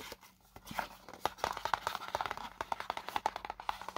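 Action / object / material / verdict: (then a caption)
tap / small paperboard box / cardboard / none. Fingernails scratch and tap along the printed icons on the black side of a small, hollow paperboard product box. The result is a quick, uneven run of dry, papery clicks and scrapes with a hollow knock centered near 940 Hz and almost no ring. A faint low hum sits underneath.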